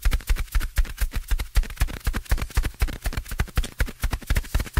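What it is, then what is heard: Foam microphone windscreen. A fingertip taps repeatedly on the top of a soft, porous black foam windscreen fitted over a microphone. The taps come in a quick, uneven stream of deep, muffled thumps with almost no high end, each dying away almost at once.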